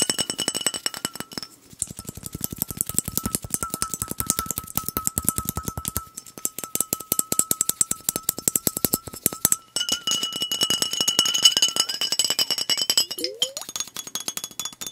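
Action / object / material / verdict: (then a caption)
tap / glass bottle with plastic cap, filled with liquid / glass / none. A fingernail taps rapidly on the glass body and blue cap of a glass soda bottle filled with liquid, making fast, dense, bright clinks. A steady ringing tone near 3 kHz carries under the taps, with brief pauses and a short sliding tone near the end.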